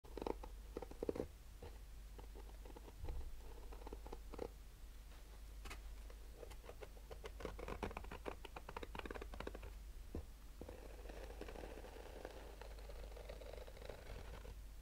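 Short pale-painted nails slowly scratch a palm-sized, rigid hollow clamshell sunglasses case covered in black nylon-mesh fabric, held in both hands. The result is quiet, soft, papery scratching and light tapping strokes that come in a steady patter over a low, constant hum.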